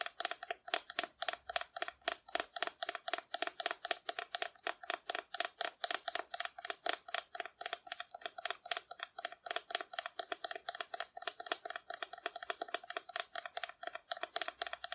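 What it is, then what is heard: Painted cardboard dinosaur. Long nails rapidly tap and scratch the body of a hollow painted cardboard dinosaur held close to the listener. The result is quick, dry, papery clicks, about four per second, that stop almost instantly. A hollow tone sits near 690 Hz under bright scratchy detail.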